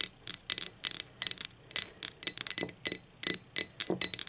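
Long acrylic nails tap the body and handle of a hollow blue speckled ceramic mug, first lying on its side and then turned upside down. About seventeen quick, bright clicking taps come in small irregular clusters, each dying away almost at once, with a thin, high ceramic tone and almost no low end.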